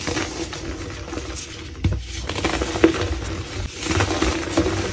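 Gloved hands squeeze and crush a soft, solid, powdery, palm-sized block of black-dyed gym chalk (calcium carbonate), with more blocks stacked behind it. The block gives off soft, crunchy crackles and a dry, gritty patter, with a few sharper snaps along the way. It crumbles into dusty chunks.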